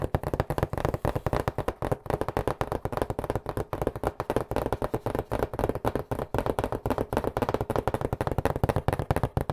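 Fingertips tap rapidly on the top and sides of a hollow cardboard pizza box held close to the mic. They produce a fast, steady stream of dull, hollow thumps with a low body and almost no brightness. Each tap dies away almost instantly.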